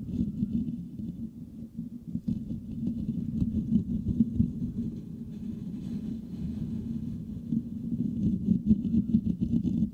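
Both hands scratch fast with fingertips and nails across a hollow metal mesh microphone grille. The result is a dense, irregular, continuous rumbling scratch centered low around 200 Hz, with faint bright crackle above and slight swells in loudness.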